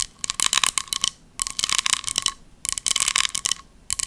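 A small round embossed silver metal compact with a pumpkin relief is tapped and scratched with long nails. Bursts of quick, bright clicks and scratchy rasps come in three clusters, with a faint steady tone near 1.1 kHz and almost no low end.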